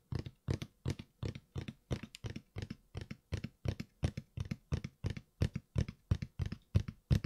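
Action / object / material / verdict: tap / closed cardboard shoe box / cardboard / none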